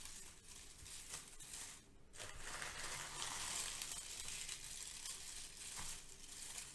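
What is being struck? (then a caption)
Crinkle-cut kraft paper shred. Hands lift and squeeze handfuls from a pile of brown crinkle-cut kraft paper shred. The result is a steady, dense, bright crinkling and rustling that dips briefly partway through, then continues.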